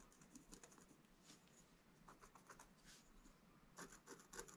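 A wooden stylus scratches the black coating near the top edge of a flat black-coated scratch-art card page. The result is quiet, dry, uneven scratching strokes with bright hissy edges, which grow a little louder toward the end.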